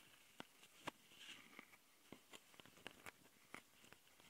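Long nails of both hands scratch and tap the capsules and top panel of a handheld plastic Tascam audio recorder. About nine sharp, dry, bright clicks stand out over a quiet, steady bed of soft scratching. Each tap stops at once with no ring.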